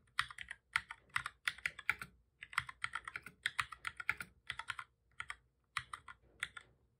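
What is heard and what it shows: Both hands type steadily with their fingertips on a full-size black plastic computer keyboard with a hollow body, resting on a desk. Quick bursts of crisp, bright key taps with short pauses between them produce dry clicks that cut off almost instantly, with very little low end.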